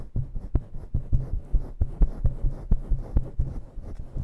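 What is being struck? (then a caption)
Synthetic fur microphone windscreen. Long nails scratch intensely across a fluffy synthetic-fur microphone windscreen. The result is a quick, uneven run of deep, muffled thumping rubs, about two per second, with almost nothing bright in the sound.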